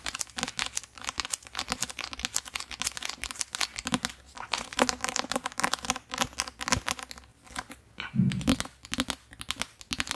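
Fingertips tap and scratch the glossy card cover of a thick, solid paperback book, then turn it to the spine side. The result is a dense, rapid run of dry, crinkly scratches and soft taps with bright, papery detail and almost no ring. A fuller, lower rub stands out near the end.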